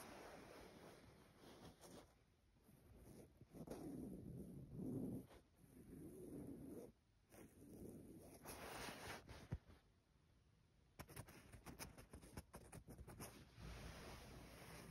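Fingertips and long nails trace and rub across a soft printed cotton duvet cover with a botanical print, spread over a bed. The result is quiet, muffled swishing and brushing strokes that swell and fade, mostly low in tone. Toward the end, short, brighter scratchy taps come through.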